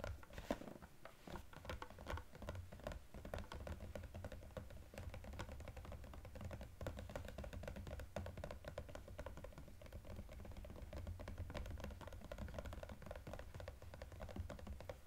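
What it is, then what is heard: Cardboard gift box with plastic window. Fingertips and nails tap quickly on a small EOS cardboard gift box with a plastic window, held and turned to show another side. A dense, steady stream of short, dry taps and light scratches rolls on for the whole clip over a low, soft rumble, each tap dying away almost instantly.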